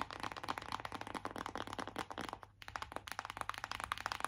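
Long acrylic nails tap fast on the printed lid of a closed BH Cosmetics cardboard eyeshadow palette, a flat hollow case. A rapid stream of short, dry, papery clicks with a hollow midrange tone breaks off briefly around the middle, then the quick tapping resumes.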